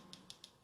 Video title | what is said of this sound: Back to basic:How to fill Acrylic nails. 💅 | as we tap this now you've got that high pitched sound so we're ready to file